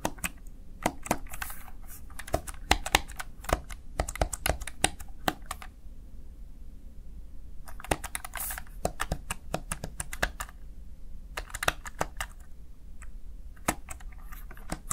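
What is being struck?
Plastic keypad.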